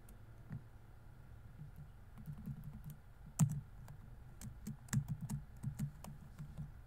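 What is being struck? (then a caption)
Plastic laptop keyboard. Fingertips slowly tap the plastic keys of a laptop keyboard set in a grey laptop body, typing at an uneven pace. About eight soft, dull clicks with very short decay stand out, the loudest near the middle, over a quiet, low background hum and a faint steady tone.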